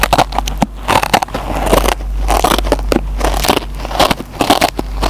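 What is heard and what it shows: The metal tip of a mechanical pencil scratches the green nylon scouring pad of a hand-sized, solid, dry yellow polyurethane foam kitchen sponge held in the fingertips. Rapid, crackly scratching bursts are heard, each with a grainy, mid-pitched rasp around 760 Hz, over a steady low hum.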